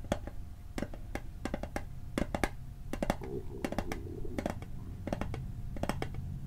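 Fingertips tap the lid and edge of a small, hollow, rectangular metal Altoids mint tin held in the hand. The result is a fast, uneven run of short, dry, clicky taps in quick clusters that die away almost instantly. A low, steady hum sits underneath.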